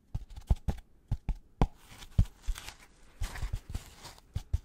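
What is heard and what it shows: A white polystyrene foam packaging insert with two recesses, held upright, is tapped and scratched with gloved fingertips. About sixteen short, dull, low thumps stand apart, with no ring after them. Soft, brighter scratching and crinkling fills the gaps between the taps.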